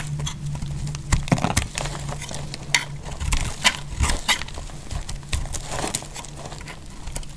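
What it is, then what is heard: Dry bar soap being shaved. A metal utility knife blade shaves crisp flakes off the edges of a solid pink dry bar of soap held in hand. The clip is a quick series of short, dry, crackling scrapes and snaps with bright edges and almost no ring. A steady low hum runs underneath.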